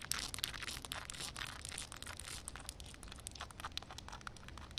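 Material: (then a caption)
Concrete. Long red nails rapidly tap and scratch a solid concrete slab covered in a film of water. The result is a quiet, dense stream of bright, crackly clicks and gritty scrapes, each one dying away instantly.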